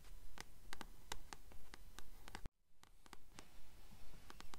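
Long nails tap and scratch the glossy front cover of a blue paperback copy of The Titan's Curse, held upright. Quick, fairly steady taps click brightly over a soft scratching hiss and a low rumble. The sound cuts to near silence for a moment halfway through, then the tapping resumes.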